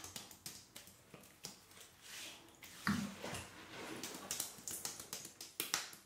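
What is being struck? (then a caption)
Denim overalls. Palms and fingertips rub and pat soaked dark denim overalls over the thighs of a seated wearer. Soft, wet slaps and squishy rubbing come in quick, uneven bursts with a bright, crackly edge and little low end.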